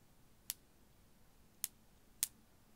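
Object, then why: Strand of small glass beads. A strand of small faceted blue glass beads is held by the fingertips beside a microphone and gently shaken and dangled. Three sparse, bright clicks of the solid beads knock together, each dying away almost at once over a faint low background hiss.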